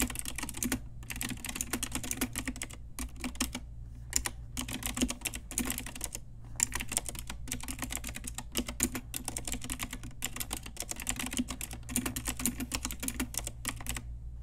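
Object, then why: Mechanical keyboard with plastic round keycaps. Rapid typing with fingertips and long nails on a pink Ajazz typewriter-style retro plastic mechanical keyboard with round plastic keycaps. A dense stream of sharp, bright clicks and clacks runs throughout, broken by brief pauses, over a steady low hum.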